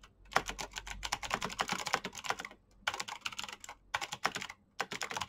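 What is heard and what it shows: Fingertips with short painted nails type fast on a black plastic mechanical keyboard with backlit keycaps. The clicky key taps come in quick, bright, sharp bursts with brief pauses between runs.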